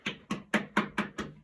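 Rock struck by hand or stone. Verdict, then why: Resonant. A stone is struck six times and gives off a resonant ringing tone, unlike the dull, soundless stone struck before it. Each hit has a sharp attack with a short ring centered around 215 Hz, plus brighter overtones that fade quickly.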